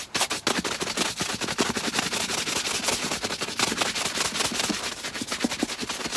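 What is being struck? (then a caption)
Leather boot brushed with a bristle shoe brush. A tan leather knee-high boot, hollow and empty and held upright in one hand, is brushed briskly back and forth with a wooden-backed bristle shoe brush. Rapid, bright, scratchy bristle strokes rub continuously across the leather, with little low-end weight.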